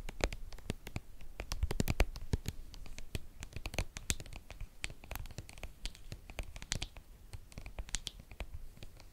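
Long painted nails scratch and tap a hollow, hand-sized, white soft plastic cream tube. The result is a dense run of quick, dry clicks and scratchy rasps with soft low thumps underneath and bright ticks on top. Each tap dies away instantly with no ring.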